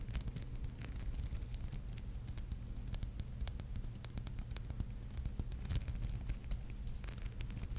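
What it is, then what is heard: Glass-beaded brooch scratched with fingernails. Long painted nails scratch and rub across a palm-sized, flat, solid red and gold maple leaf brooch covered in tiny glass seed beads, held in both hands. Quick, bright ticking and scratching clicks sound continuously over a steady low hum.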